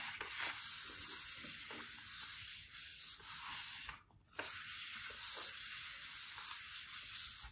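A hand wipes and rubs the glass screen of a large, flat iPad Pro 12.9 lying on a plaid blanket, using a paper tissue. The result is a steady, bright, airy rubbing hiss that drops out briefly around the four-second mark, then resumes.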